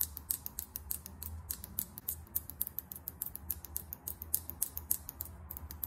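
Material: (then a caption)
Plastic, metal. Long acrylic nails tap quickly on a small filled lip gloss tube with a chrome metallic cap. The taps are rapid, crisp, bright clicks that stop short, over a steady low hum.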